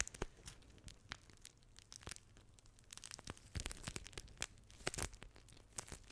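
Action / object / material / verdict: scrape / plastic gel pack filled with water beads / plastic / none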